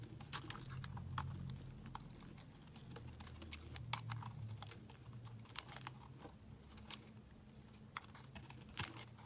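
A utility knife blade scrapes and carves shavings from a round pink-and-white solid bar of soap held in the hand. It makes crisp, bright scraping clicks at an irregular pace over a soft, low rumble.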